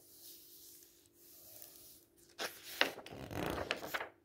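Palms rub across the thin paper pages of an open paperback book, making a soft, airy hiss for the first couple of seconds. Then fingers lift and turn the pages, giving louder, crisp, bright rustles with a few sharp papery snaps before it fades out.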